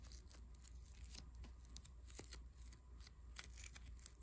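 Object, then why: Foam bead clay. A small, soft but solid lump of pink foam bead clay is pinched, kneaded and rubbed between fingertips. It gives quiet, dense crackling and crisp little pops with bright, sharp ticks, over a steady low hum.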